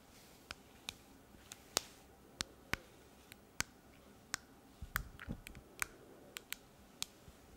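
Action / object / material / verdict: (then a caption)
tap / smartphone in a plastic case / plastic / none. Long painted fingernails tap and click on a handheld smartphone in a solid rose-pink case. The result is an irregular series of sharp, bright clicks with very short decay over a quiet background, with a brief cluster of softer taps near the middle.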